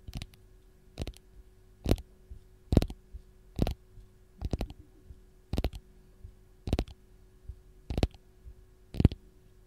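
Long gold nails tap and scratch the peel of a single whole raw lemon held in hand. Short, dry clicks repeat about once a second, some in quick doubles, over a faint steady low hum in an otherwise quiet background.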